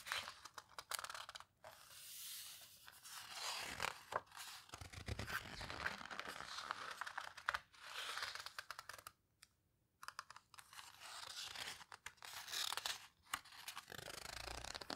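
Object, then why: Large book with heavy coarse paper pages. Fingertips and long nails squeeze, rub and turn the heavy, coarse paper pages of a large open Paper Houseboat photo book. Dry, bright paper scratching and crinkling swell and fade with each rub, broken by brief silent pauses between page movements.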